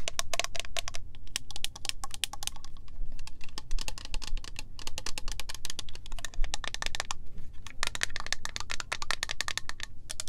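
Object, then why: Plastic spray bottle with liquid. Long nails rapidly tap and scratch a pink, textured, cylindrical plastic PINK body mist bottle holding liquid. The result is a dense run of quick, dry, bright clicks and scrapes, with brief pauses, over a steady low rumble.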